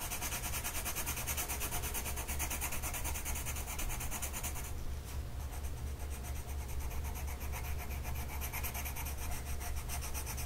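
A blue colored pencil tip is rubbed back and forth across a flat printed mandala coloring sheet of paper lying on a table and held down by one hand. The result is a steady, rhythmic scratchy rubbing with bright, papery grain. A constant low hum runs underneath throughout.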